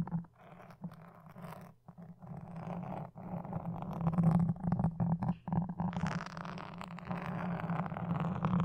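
Wooden toothpicks held in both hands, with long dark nails, scratch a black foam windscreen on a red microphone. It makes a dense, irregular, crunchy rasping with a steady low hum underneath. The scratching grows louder partway through and turns brighter and more sustained toward the end.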